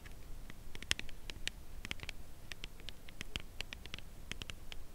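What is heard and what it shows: Long nails tap the edge of a cardboard chocolate bar box held edge-on and tilted, producing a steady run of quick, light clicks. Each tap is a dry, crisp tick centered in the upper mids around 2.7 kHz with a bright top and almost no ring, over a faint low background rumble.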